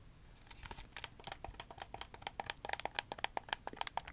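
Fingertips tap and click the buttons and tap the shell of a hollow red handheld plastic gamepad held in both hands. A quick, uneven run of sharp, dry plastic clicks with a bright edge and a hollow midrange tone near 855 Hz stops dead with no ring. The clicks grow louder and crisper toward the end.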